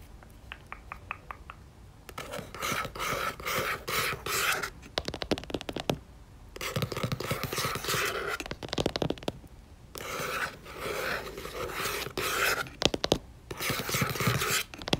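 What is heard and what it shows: Long painted acrylic nails tap rapidly on the front cover of a yellow paperback book with a paper cover, solid and closed, lying flat on a white surface. A few light, separate taps give way to bursts of dense, crisp clicking, broken by short pauses.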